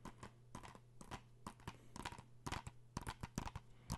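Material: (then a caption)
Plastic. Fingernails tap and scratch on a blue plastic PS4 game case held in both hands. Quick, dry clicks come in irregular bursts with very little ring, over a faint steady low hum.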